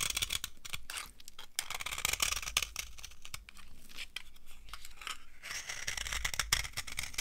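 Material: Soap.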